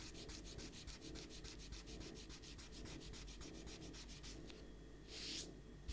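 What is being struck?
Paper sheet rubbed with an eraser.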